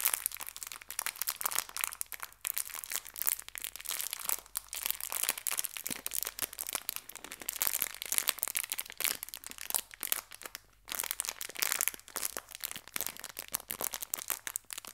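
A small clear plastic bag filled with hair ties is pressed and crinkled by both hands with long nails. A dense stream of bright, crackly crinkles plays throughout, with one brief quiet gap partway through.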